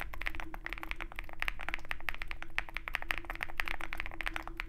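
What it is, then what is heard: Mechanical keyboard with PBT keycaps and aluminum case. Fingertips of both hands type continuously on a Zoom65 65% mechanical keyboard with white MT3 PBT keycaps and a dark aluminum case, resting on a desk mat with a wooden wrist rest. A rapid, steady stream of short, crisp clacks with a bright midrange ring around 1.8 kHz fills the clip, each keystroke dying away almost instantly.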